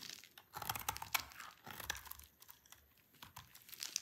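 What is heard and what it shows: A solid bar of dry green soap held in the hand is carved and scraped with a utility knife blade, and crunchy flakes fall onto a pile. The cuts come as quick, uneven crisp scrapes and crackles, bright and dry, with little low end and almost no ring.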